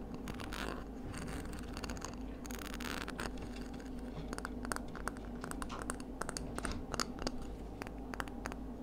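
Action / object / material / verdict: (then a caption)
scrape / scallop seashell / shell / none. Long nails scratch and tap along the radial ribs on the outside of a palm-sized, hollow, empty, pinkish ridged scallop shell held up in the hand. Soft, dry scratching gives way to a quick run of short, bright clicks and taps, each dying away almost at once over a steady low hum.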